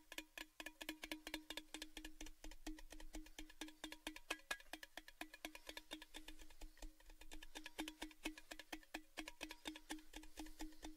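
Fingertips tap quickly and steadily on the painted surface of a hollow, empty orange metal Baileys gift tin tube, held upright and then horizontally. Each tap is a short, bright click with a low hollow ring that dies away almost at once. The taps repeat in a fast, uneven rhythm at an even volume throughout.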